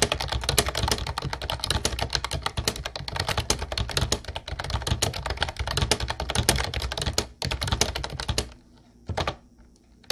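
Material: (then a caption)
Plastic. Fast two-handed fingertip typing on a mint-blue plastic retro typewriter-style Ubotie keyboard with round white keycaps produces a dense stream of sharp, bright clicks with a low thump under each press. The clatter runs nearly continuously for about eight seconds, pauses briefly, then ends with a few scattered keystrokes before falling quiet.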